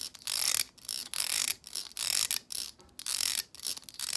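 Long acrylic nails strum and scratch across the stiff plastic bristles of a hand-sized black plastic vent hair brush. Bright, high, dry rasping comes in repeated uneven bursts with short gaps between them and almost no low end.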